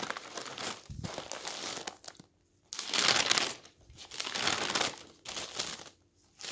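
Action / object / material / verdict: scrape / newsprint newspaper / paper / none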